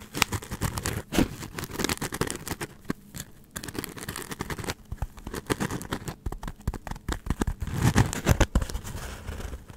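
A hand-sized white polystyrene foam block is scratched with long nails and moved around close to the mic. The result is dense, dry scratching and squeaking with many quick crackles and scrapes. A thumpy low rumble comes from the handling, and the crackles are brief with almost no ring.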